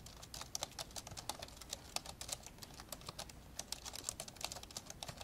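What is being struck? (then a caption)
Plastic laptop keyboard. Fast two-handed fingertip typing on the plastic keys of an old, dark grey plastic laptop lying open. The clip is a steady stream of quick, light, bright clicks with short, dry decays. Some keystrokes land harder than others.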